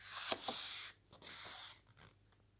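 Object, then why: Large glossy-paged paper lookbook. A hand smooths a glossy photo page of a large, thick paper lookbook flat, then flips to the next page. Two sharp, crisp ticks open a bright, papery swish, followed by a second, softer rustling sweep as the page turns, all quiet and high-pitched with almost no low end.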